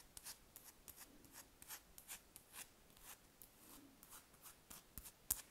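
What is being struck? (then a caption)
Large spherical wax candle. Long red nails scratch and tap across a large, solid spherical wax candle. The result is a quiet series of short, dry, bright scratches with almost no ring, separated by brief pauses and ending in a slightly sharper stroke.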